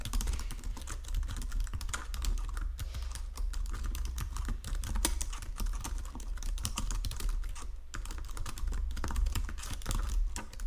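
Fingertips with painted nails type steadily across the low-profile keys of a full-size white and silver plastic Logitech keyboard resting on a marble desk. A dense run of quick, short key clicks and taps continues for about ten seconds over a low, steady hum.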